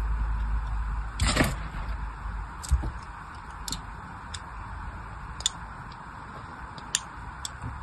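A thin blade scores parallel lines into a solid pink bar of soap held in the hand. It makes short, crisp scratching strokes with bright, sharp edges, spaced irregularly over a steady low background hiss and rumble.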